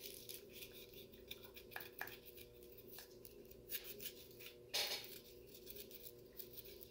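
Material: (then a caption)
Plastic. A medium clear frosted plastic fast-food cup, full of brown frozen cola slush and held in one hand, is tapped and scratched along its wall by the fingertips of the other hand. Soft, bright scratching and light ticking taps run through the clip over a steady low hum, with a louder crackling burst near the end.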